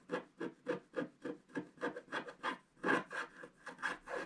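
A wooden stylus scratches the owl's belly area on a flat, black-coated scratch-art card, making about 15 short, rough scraping strokes at a quick, uneven pace. Each stroke is a dry, raspy rub centred in the midrange with bright, airy edges, and there is almost no low end.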